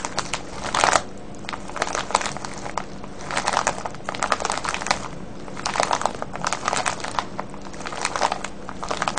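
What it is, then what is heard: Plastic bag of wrapped candies. A full, clear plastic bag of wrapped sweets with a red wrapper on top, resting on a wooden table, is cupped in both hands and squeezed and rubbed with the fingertips. Dense, bright crinkling comes in repeated bursts of crackly rustle with brief quieter gaps, over a steady low hum.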